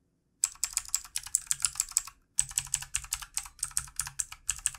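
Fingertips of both hands type steadily on a full-size backlit plastic mechanical keyboard with plastic keycaps. Its bright, clicky keystrokes come in quick bursts, with a brief silent pause near the middle.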